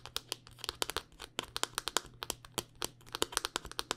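A handheld smartphone in a solid black rugged hard-plastic case is tapped and scratched with long dark-painted nails. A rapid, uneven run of sharp, dry clicks and brief scratchy sweeps is heard, bright and crisp with almost no low end. Each tap dies away at once over a faint low hum.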